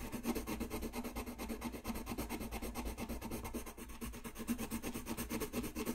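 A colored pencil rubs back and forth on a thin white paper coloring sheet lying flat on a desk, filling in a small area. The result is a steady, rapid series of soft, scratchy strokes with a faint low hum underneath.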